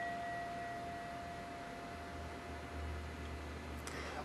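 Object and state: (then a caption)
Brass altar bell, sound and resonant. A vintage solid brass Japanese Buddhist altar bell (rin), in good condition, is struck with a wooden striker. It rings with a steady, resonant tone around 760 Hz and a fainter higher partial near 2 kHz that sustains through the clip. A fresh strike near the end brings a brief bright attack.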